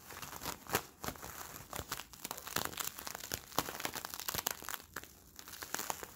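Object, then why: Thin sticky plastic bubble film. Fingers squeeze and crinkle an empty, palm-sized Bloonies bubble of hollow, clear, sticky plastic film, pulling its tacky surfaces apart. Dense, bright crinkling is broken by quick, sharp crackles and peeling snaps that stop almost instantly, with little low end.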